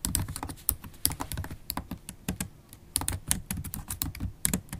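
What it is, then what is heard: Laptop keyboard being typed on with long nails. Long stiletto acrylic nails and fingertips type rapidly, close up, on a MacBook Pro laptop keyboard with low-profile black plastic keys set in a silver aluminum body. The result is a steady, uneven stream of short clicks and taps, each with a soft low thud and a bright, sharp nail tick that dies away almost instantly.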